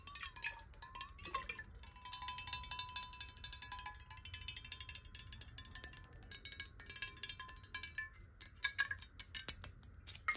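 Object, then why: Glass bottle with water. Long nails tap rapidly on a clear glass bottle partly filled with water and tilted sideways, making bright, crisp clicks with chime-like ringing. As the water moves, a tone near 1 kHz glides and shifts, and the taps continue unevenly throughout.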